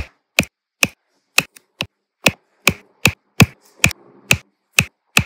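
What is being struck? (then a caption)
Small resin drills pressed with a plastic pen onto adhesive canvas. A plastic drill pen with a metal tip taps small solid round resin diamond-painting drills one at a time onto a flat adhesive canvas laid with rows of drills. About twelve short, crisp, bright clicks fall at a steady pace, each dying away almost instantly, with faint rustling between some taps.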